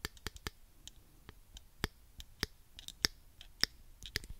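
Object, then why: Plastic claw hair clip. A small pink plastic claw hair clip is held in one hand while the fingertips click and squeeze its hinge and teeth. The result is a quiet, irregular series of sharp, bright plastic clicks with almost no ring, some louder snaps standing out among softer ticks.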